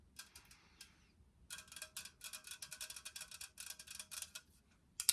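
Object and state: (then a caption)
Unopened drink can tapped with nails. Fingernails tap rapidly on an unopened green dry apple kombucha can made of metal, producing bright, dry clicks with almost no ring. The taps come in uneven bursts with a short pause before a final louder flurry.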